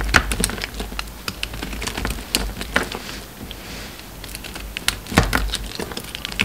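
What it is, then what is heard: Bar of soap being carved. An orange solid bar of soap is carved and scraped with a metal utility knife blade while shavings pile up. Short, sharp scraping clicks and crisp cuts come in irregular bursts, with a quieter, softer scraping stretch in the middle. Each cut is bright and dry and stops quickly, with no ring.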